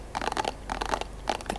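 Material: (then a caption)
Plastic. An empty plastic cotton swab container, kept only because it sounds good, is tapped quickly with light, dry, clicky plastic taps. The taps come in three short bursts with a bright midrange tone and no lingering ring.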